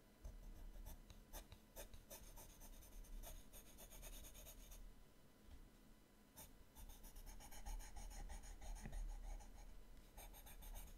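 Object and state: Paper sketchbook page.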